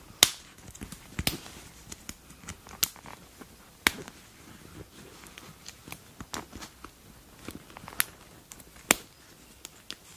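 Fingers with long nails pinch and rub the collar tab near the neckline of a flexible black leather (likely faux) jacket. Sharp, bright crackles and snaps ring out over a quiet background, with a few louder pops among softer ticks and rustles.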